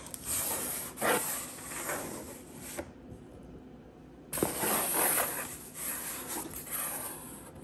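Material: Cardboard.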